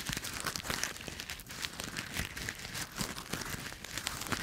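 A small handful of brown, dry autumn leaves held in one bare hand in front of a microphone is crushed and crumpled by the fingertips and palm, squeezing and rubbing. It produces a steady, dense, bright crackling and crinkling with many quick, dry crunches and almost no ring.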